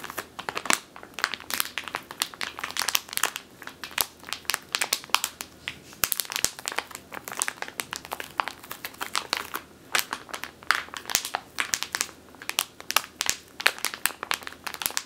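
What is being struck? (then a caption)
Plastic bag filled with flour. A medium clear plastic bag with a purple label, full of flour or grain, is squeezed and scratched by long teal nails. Dense, bright crinkling and crunching crackles fill the clip in rapid, closely spaced bursts with almost no low end.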